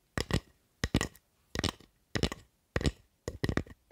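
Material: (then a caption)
Wood. Long nails tap and scratch a solid carved wooden spatula with visible wood grain. Short clusters of dry, crackly clicks with a low woody knock and a bright scratchy edge come in irregular bursts, with quiet gaps between them.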